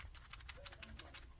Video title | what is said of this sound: Mr Coffee Programmable POD + 10 Cup Space Saving Combo Brewer Demo Product Review | when you shake it you'll actually hear the charcoal moving around in the filter